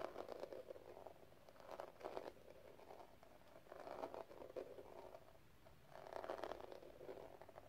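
A small, hollow metal cigarette case covered in pink gem tiles is held in the palm and tapped rapidly with long red nails. It gives soft, quick, clicky tapping in bursts with a hollow midrange tone, separated by quieter pauses.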